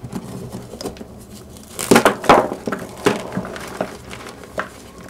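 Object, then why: Gym chalk blocks in a plastic bowl. Gloved hands grip and crush solid gym chalk blocks, some already partly broken, in a pink plastic bowl, and the blocks crumble into pieces and powder. Dry crunching and crumbling snaps come in uneven bursts, loudest in the middle, over a quiet crackly background.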